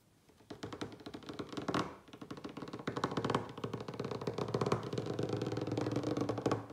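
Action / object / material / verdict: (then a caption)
tap / wooden table top / wood / none. Fingertips and short nails of both hands tap fast on the surface of a large solid wooden dining table. The result is a dense, uneven stream of short, dull knocks with little ring, running almost continuously after a quiet start.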